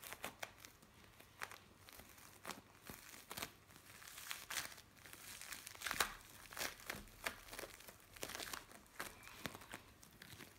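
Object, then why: Bead play foam. Fingertips pinch and scrunch a flattened piece of blue bead play foam, producing quiet, bright crinkling and crackling. Short, sharp bursts come one after another throughout the clip, with almost no low end.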